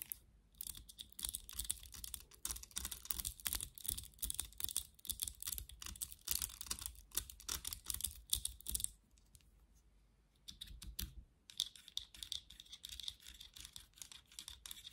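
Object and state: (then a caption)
Plastic vent hairbrush. Long nails rapidly scratch the bristles and tap the hollow, vented back of a black plastic vented hairbrush, making dense, crisp, bright clicking and scratching. A brief pause falls near the middle before the quick tapping resumes.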